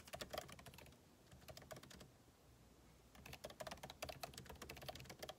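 Fingertips type rapidly on a backlit MacBook Pro keyboard with plastic keycaps set in an aluminum body. Quick, dry, bright clicks come in dense bursts, with a short pause in the middle before the fast typing resumes.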